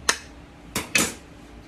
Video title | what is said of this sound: How to Use an Arbor Press to Make Bath Bombs | you can hear it too there's just a different sound to it